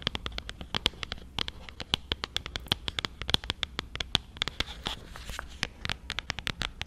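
Long acrylic nails tap and scratch the flat sides and edges of a small, closed, printed cardboard iPhone box held in both hands close to the mic. The result is dozens of quick, sharp, bright clicks that stop dead, with a faint tone around 3.4 kHz over a soft scratchy hiss.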